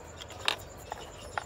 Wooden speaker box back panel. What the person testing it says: pag tinuktok mo, solid talaga